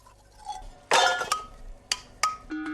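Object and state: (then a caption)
Brass-coated sheep bells clinking. Brass-coated sheep bells, freshly freed from their baked clay crust and shining gold, clink together four times. Each strike gives a bright metallic ring that fades quickly, with the typical sound of these bells. A faint, steady tone lingers at the end.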